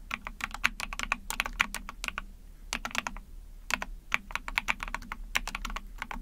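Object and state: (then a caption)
Plastic mechanical keyboard. Rapid typing on a small, backlit 44-key mechanical keyboard with an ABS plastic case, PC plate and pink and white keycaps, struck with long painted nails and fingertips. Dense bursts of bright, clicky keystrokes clatter with short pauses between runs, each key snapping with a crisp high tick over a faint low thud.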